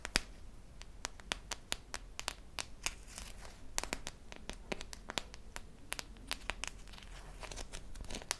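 A hollow silver metal can with ribbed ends and an orange dot print is held in both hands and tapped and scratched with long nails on its ribbed bottom and side. An irregular run of sharp, bright clicks and taps sounds over a soft scratchy rustle and a faint low hum. Each tap cuts off almost at once with no lingering ring.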